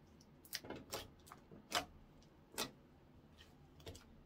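Fingertips roll, fold, then poke and press flat a translucent orange clear slime on a wooden counter. The result is a quiet, irregular series of short, bright, sticky clicks and wet pops, each fading almost instantly, with soft squishing between them.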